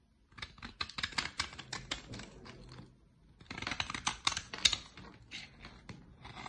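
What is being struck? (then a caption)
Bar of soap cut by a knife blade. A utility-knife blade shaves curls from the surface of a solid dark olive bar of soap held in the hands. It makes a quick, uneven run of short, bright scraping and cutting strokes, pauses briefly, then scrapes again, each stroke ending dry with no ring.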